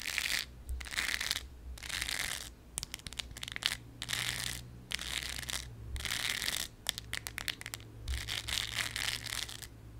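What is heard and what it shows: Very long yellow acrylic nails scratch the textured surface of a thin, solid, round embroidered fabric patch shaped like a lemon slice. The result is bursts of dry, bright, crackly scratching separated by short pauses, with sharp little clicks between them.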